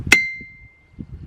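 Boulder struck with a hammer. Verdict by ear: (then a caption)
Ringing. A boulder at Ringing Rocks park is struck once with a hammer bought at a Dollar General, giving a single bright clang that rings on as a clear tone near 2 kHz. The ring slowly fades over about a second, leaving faint low rumbling noise behind it.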